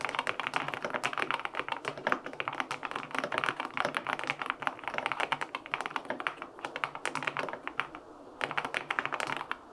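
Continuous fingertip typing on a LINK65 compact mechanical keyboard with a white aluminum case, pale pink plastic keycaps and linear switches, resting on a desk. The key taps are short, crisp clacks in a dense, irregular stream, with a brief pause near the eight-second mark before typing resumes.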